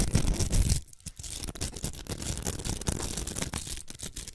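Long nails scratch the surface of a large, hollow pink plastic velcro hair roller. A dense, rough rasping with a deep low rumble is loudest in the first moment, dips briefly, then continues as a steady run of fainter, irregular scratchy strokes.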